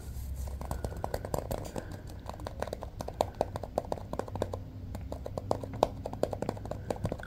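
An inflated orange rubber balloon, hollow and air-filled and tied with a small metal clip, is held close and tapped and rubbed with fingertips. Quick, dry taps and soft rubbing squeaks ring around a mid-pitched tone over a low, muffled rumble, with short bursts of rapid tapping throughout.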